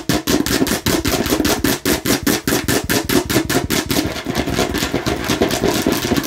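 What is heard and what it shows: Long nails tap rapidly on a hollow, hard plastic watermelon-slice container held in one hand, making a fast stream of clicky, hollow knocks with a mid-low body around 285 Hz and bright clattering edges. The taps come in quick, slightly uneven bursts, each decaying almost at once, and after about four seconds they blur into a denser, continuous rattle.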